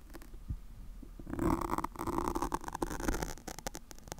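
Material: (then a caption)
Foam. Long pointed acrylic nails of both hands scratch and pinch the top of a black porous foam windscreen on a microphone, close up. A faint, soft rustle opens the clip, then grows into louder crackling, scratchy friction with muffled low thumps and sharp bright clicks that continue to the end.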